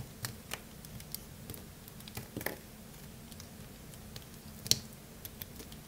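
A small remaining piece of solid, dry blue bar soap is cut with a craft-knife blade. Soft, crisp crunching clicks and scrapes sound over a quiet, low background hum, with a sharper bright snap near the end.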